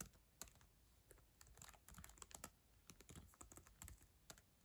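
Long acrylic nails type on the plastic keys of a black ThinkPad laptop keyboard. Quiet, rapid, uneven clicks carry a bright, sharp tap from the nails over a soft low thud from each key, and each one dies away almost at once.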